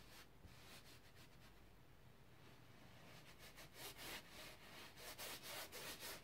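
A flat bristle paint brush is swept in strokes across the lower area of a large stretched cotton canvas, taut fabric over a wooden frame on an easel, applying pink paint. Soft, bright rubbing and swishing is heard, quiet and even for the first three seconds, then growing into louder, steady, rhythmic strokes with a dry scratchy hiss.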